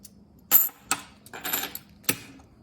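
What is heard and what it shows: Ordinary solid half dollar coins are dropped, giving bright, high-pitched metallic clinks with a short ring, showing what a normal coin sounds like compared with a hollow magic coin. Several sharp impacts sound across the clip, with a cluster of quicker jingling clinks in the middle.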